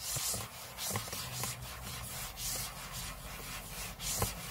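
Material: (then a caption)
Aluminium. Short fingernails scratch the aluminium lid of a closed space-grey MacBook lying flat on a table. The result is a steady series of soft, bright, hissy scraping strokes with faint low bumps underneath.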